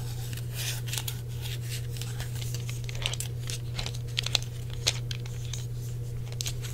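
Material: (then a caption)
Plastic. Fingertips tap the shell and D-pad buttons of a hollow grey plastic Sony PlayStation controller. Soft, bright clicks and scratchy taps patter irregularly over a steady low hum. Each tap dies away almost instantly.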